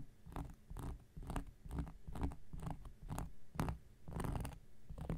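An X-Acto knife blade scratches a round, flat, solid cork coaster in a quiet series of short, irregular strokes. Each stroke gives a dry, low rasp with a brief brighter scrape on top and little ring afterward, repeating at about one stroke per second.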